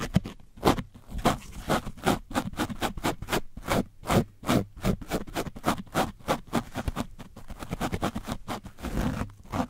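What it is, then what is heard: Painted foam microphone windscreen. A foam brush is scraped along the side of an orange foam microphone windscreen coated with dried paint. The result is a rapid series of short, dry scratching strokes with a gritty texture, bright at the top and with a low thump underneath.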